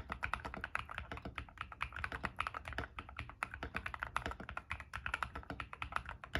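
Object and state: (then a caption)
Mechanical keyboard with PBT plastic keycaps. A white-case 60% mechanical keyboard with white and grey PBT plastic keycaps, resting on a desk mat, is typed on quickly with fingertips. Dense, rapid key presses give short, sharp clacks with a bright click around 1.3 kHz and a low thock beneath. About 51 separate keystrokes are heard in a continuous stream.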